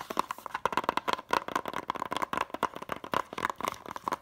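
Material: Plastic.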